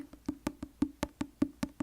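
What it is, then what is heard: Paperback book. Fingers tap on the paper front cover of a paperback book, *Japanese Tales*, for comparison with a hardback book. Ten quick, dry, hollow knocks fall in a steady rhythm, each with a woody tone around 280 Hz and almost no ring.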